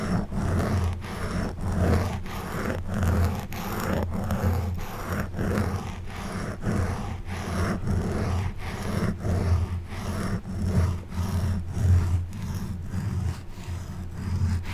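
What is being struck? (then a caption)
Foam microphone windscreen scratched with a plastic back scratcher. The forked tip of an orange plastic back scratcher, held in the hand, scratches and rubs the soft, porous black foam windscreen on a silver Blue Yeti microphone in repeated strokes. The result is a steady, deep, rumbling scrape centred low around 90 Hz, with faint crackly rasps marking each stroke at a loose, uneven rhythm.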